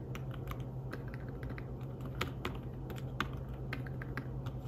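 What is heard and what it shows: Fingertips tap the keys of a slim fabric-covered tablet keyboard while typing, making a quick run of soft, muted clicks with short, dull bright edges. A steady low hum sits underneath the quiet tapping throughout.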